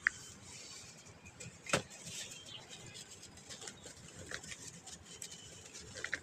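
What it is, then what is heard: Clump of packed dry sand being crumbled. Two bare hands with painted fingernails squeeze, rub and crumble a large, solid, dusty clump of packed dry white sand with fingertips and palms, holding it over a bowl of loose sand. Quiet, bright gritty crunching and soft sandy hiss run throughout, with a few sharper crackles standing out near the start, around the middle and at the end. The clump breaks apart into smaller powdery chunks.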